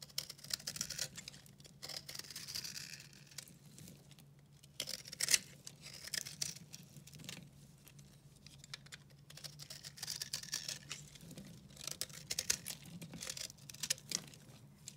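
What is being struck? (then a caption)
Soap bar carved with a knife. A round, solid, dry recycled soap bar in green, blue and pink is held in the hand and carved with a red-handled utility knife. Each cut gives a dry, bright scraping crunch, with crumbly crinkling and light patter as flakes come away. A faint low hum runs underneath.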